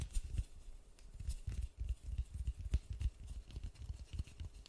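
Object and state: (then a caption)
Styrofoam ball. White-gloved fingertips tap steadily on the textured surface of a large white polystyrene foam ball. The taps are soft, dull, low thumps with a faint bright tick on some, each dying away almost instantly, in a quick, uneven patter.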